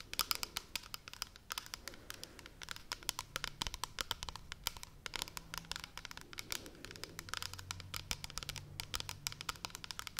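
A large, hollow, pale blue plastic pump shampoo bottle held near the face is tapped rapidly with long red nails. The result is a steady stream of crisp, bright clicks that stop almost instantly, over a faint low hum.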